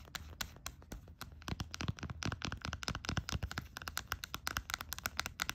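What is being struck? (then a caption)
Small plastic bottle in a silicone holder. Long nails rapidly tap and scratch a small plastic hand sanitizer bottle held in a pink silicone holder. A quick, uneven run of short, dry clicks and scrapes follows, each with a bright tick and a soft low thud and no ring.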